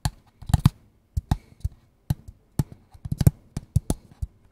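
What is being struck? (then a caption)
Small cardboard box. A small, hollow, kraft-brown cardboard box is held in both hands and tapped with the fingertips and nails. The result is a quick run of dry, short taps with hollow low thumps, a light bright click on each, and almost no ring. The taps come in loose rhythmic clusters with brief silences between.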